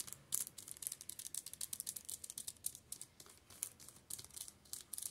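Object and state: Shrink-wrapped paperback books.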